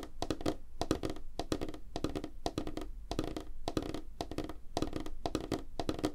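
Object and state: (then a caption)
Light wooden tabletop, fast fingertip tapping. Fingertips and nails of both hands tap quickly on a flat, solid, light wooden tabletop. The result is a steady patter of short, dull wooden knocks with a low body near 316 Hz, clustered in rhythmic bursts. Sharp, bright nail clicks cut through, and each tap dies away almost instantly.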